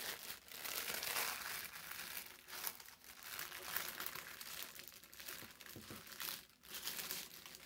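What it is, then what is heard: Parchment paper sheet. A thin sheet of brown parchment paper is pressed and smoothed flat on a table with the palms, then unfolded. It gives off continuous bright rubbing and crinkling with almost no low end, swelling and fading in waves with brief quiet dips.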